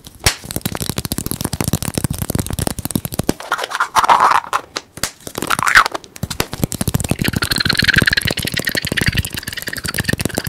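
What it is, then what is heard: Plastic egg shaker. A small teal hollow plastic egg shaker, held between the fingers, is tapped and scratched with fingertips and nails close to the mic. The result is a fast, dense run of dry, crackly clicks and scratches with a bright edge, centered around 1.3 kHz. A couple of brief pauses break up the steady stream.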